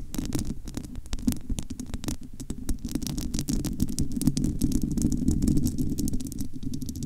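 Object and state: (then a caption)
Metal mesh microphone grille. Long almond-shaped nails of both hands scratch and tap the bare, uncovered domed metal wire-mesh grille of a large hollow studio microphone. A dense, irregular flurry of quick dry taps and scratchy clicks plays over a heavy, muffled low rumble with a thudding, throbbing body. Faint bright ticks flicker above.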